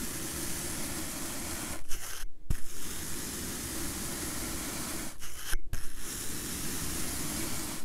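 A plastic-handled comb with long metal pins is dragged through a solid, rectangular block of purple kinetic sand resting on a teal surface, raking and scraping grooves into it. The sound is a steady, grainy low scrape with a faint bright hiss. It breaks off twice into brief near-silences, each ending with a sharp tick before the raking resumes.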